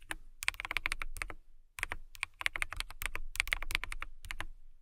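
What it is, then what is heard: Acrylic mechanical keyboard being typed on. Long nails type rapidly on a transparent acrylic mechanical keyboard with clear keycaps, producing bursts of crisp, bright clicks around 2.2 kHz over a soft low thump. The taps come in quick runs separated by short pauses, each click dying away almost instantly.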